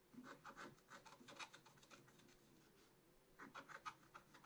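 A wooden stylus scratches the upper right leaves into the black coating of a scratch-art card in a spiral book. Quick, uneven bursts of bright, raspy rubbing strokes fade into a quieter, softer scrape mid-clip, then return in another flurry of short scratches.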